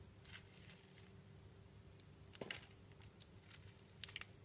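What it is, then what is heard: Soap bar scraped with a blade. A round solid blue soap bar with a pink swirl, held in the hand, is cut and scraped with a metal utility knife blade. The quiet, bright, crisp scraping and shaving sounds come in irregular short bursts, with sharper clicks near the end, over a steady low hum.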